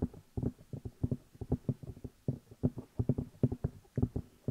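Fingertips tap and rub the hollow rubber or silicone ear pieces of a black binaural microphone while the hands cup them. The result is a quick, irregular run of soft, muffled, low thumps with a deep hollow tone and almost no bright content, each dying away instantly.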